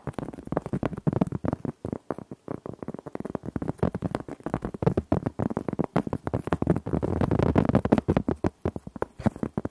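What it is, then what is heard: Cork board scratched with nails. A large, round, flat cork board, solid and thin, is held up and scratched and rubbed across its surface with long nails. The result is a fast, steady run of short, dry scratching strokes with a muffled, low-mid body and little brightness, each dying away almost instantly.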